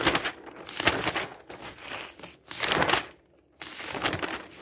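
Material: Paper.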